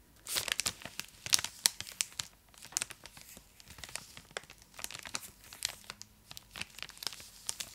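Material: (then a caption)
Plastic foil. Long acrylic nails scratch and crinkle the foil-lined plastic wrapper of a full, large purple Cadbury Dairy Milk chocolate block held in both hands. Dense, bright crackles and sharp crinkles come in bursts with very little low end, each snap dying away almost instantly.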